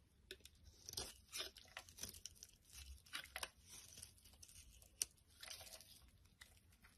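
A utility knife blade scrapes a solid translucent amber glycerin soap bar held in the palm, peeling off thin curled shavings. The result is quiet, bright, crunchy scraping strokes in short irregular bursts, with one sharper click near the end.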